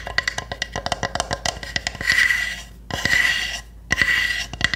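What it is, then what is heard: Wooden hamster house tapped with nails. Long nails tap quickly on the roof of a small, hollow pine-wood hamster house, making sharp, dry wooden clicks with a ringing tone near 2 kHz. Three stretches of bright, hissing scratches follow, with more taps in between.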